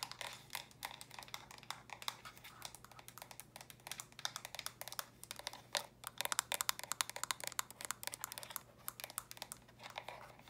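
Long nails quickly tap the round studs and sides of small, hollow, stacked plastic brick storage boxes. The result is a steady stream of dozens of quiet, bright, dry clicks with no ring, over a faint low hum.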